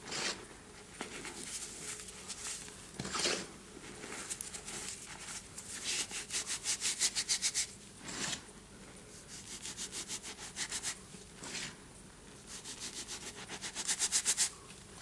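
Fingertips with short painted nails rake, squeeze and crumble clumps of loose white cornstarch and gym chalk powder in a large bowl, letting it sift through the fingers. The result is soft, dry, crunchy rasping in bright, hissy bursts, often coming as quick rhythmic runs of squeaky crunches that swell and fade between quieter stretches.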